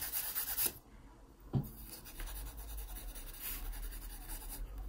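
A yellow wooden graphite pencil rubs and scratches across the page of an open paper sketchbook lying flat. A bright, papery scratching burst opens the clip, followed by a brief soft low thump. Quieter strokes then continue over a steady low rumble.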